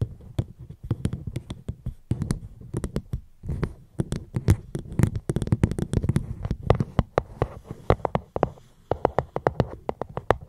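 Gentle, rapid tapping on a fruit box held close to the microphone produces a dense run of soft, dull knocks with a low, thumpy body and short bright clicks on the strikes. The taps come in quick, irregular bursts with brief pauses, and each hit dies away almost instantly.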